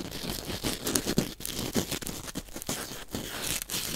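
A small white biodegradable corn starch foam packing peanut, a solid lightweight foam, is held in front of the microphone and squeezed, crunched and torn with the fingertips. Dense, dry crunching and crackling come with squeaky tearing bursts and bright crinkly texture. It forms a continuous close-up stream of short crisp snaps with little ring.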